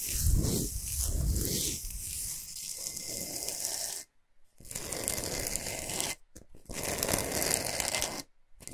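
Long pointed nails scratch fast across the top surface of a large, flat, solid pink Himalayan salt block resting on a fluffy mat. The result is a dense, raspy, gritty scratching with a bright hiss on top and a low rumble underneath. It runs in long bursts separated by brief silent pauses.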